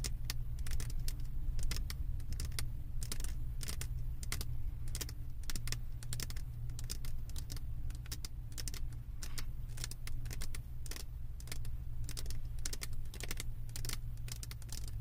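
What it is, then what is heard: Resin diamond painting canvas. Long acrylic nail tips tap quickly on the resin drills of a flat diamond painting on a canvas board. The rapid, crisp, bright clicks run steadily throughout over a constant low hum.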